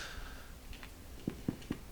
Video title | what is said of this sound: Whole Wheat Sour Dough Recipe with Psyllium | you can tell it's cooked by when you knock it it's Hollow sounding